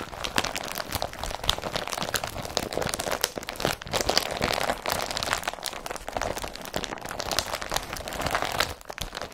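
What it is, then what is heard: Woven polypropylene carrier bag. Short nails and fingertips scratch and rub the woven surface of an empty blue IKEA BRATTBY carrier bag made of woven polypropylene. The result is a dense, continuous crinkling and scratching texture with many quick, bright, dry clicks and almost no low end.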